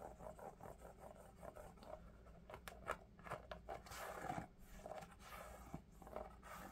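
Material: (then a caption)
Foam. An empty, hollow lavender Crocs foam clog with ventilation holes and a heel strap is held in the hands and rapidly tapped and scratched with the fingertips and nails. Quick, quiet, dull taps mix with dry scratchy rasps in the midrange, over a faint low hum throughout.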